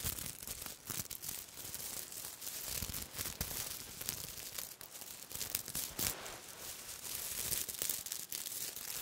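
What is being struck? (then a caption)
Sequin fabric. Silver-black sequin cloth is held close and rubbed with fingertips and nails, producing a dense, continuous bright scratching and crinkling rustle. The sound runs for the full clip with small swells and dips but no distinct pauses.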